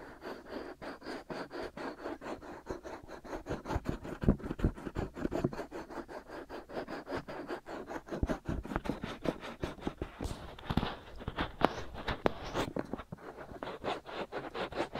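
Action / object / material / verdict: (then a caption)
scrape / silicone ear of a binaural microphone / silicone / none. The white silicone ears of a binaural microphone are scratched and lightly rubbed by the fingers of both hands, using short nails. A steady, rapid series of dry, close scratching strokes fills the clip, each short and rustly with a warm low body. Brighter, sharper scrapes come in toward the last third.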